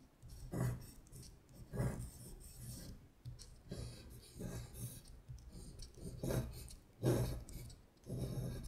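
A long acrylic nail traces and scratches over the handwritten letters on a thin printed paper sheet lying flat. Soft, dry scratching strokes come in a series of short bursts over a low, muffled rumble, with faint bright rasp on each stroke.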